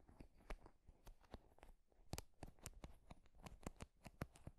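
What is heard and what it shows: Fingers scratch and strum across the wooden pins of a wooden paddle hairbrush held close to the mic. The result is a quiet, irregular run of short, dry clicks and crackles with bright, crisp tips, each dying away almost instantly over a soft low rustle.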